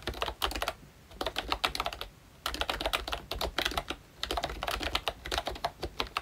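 A ROYCHE Disney Mickey Mouse-themed full-size retro membrane keyboard with round plastic keycaps is typed on continuously with the fingertips of both hands. Bursts of quick, dry plastic key clicks come in three runs separated by brief pauses, bright with little low end and no ring.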